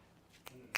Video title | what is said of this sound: Monday LIVE - James’s Iron Fitting Part 2 | because this is a cast frame, it's got that snappy kind of sound. So in here it sounds hollow.